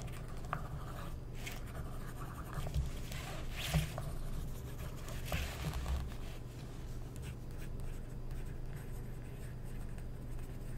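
A wooden stick tip traces and scratches across the printed page of an open glossy paper magazine lying flat on a table, a thin multi-page solid stack, while the other hand's fingertips hold the pages down. Soft, papery scratching and tracing strokes run continuously over a steady low hum, with a few brighter, slightly louder scrapes standing out briefly.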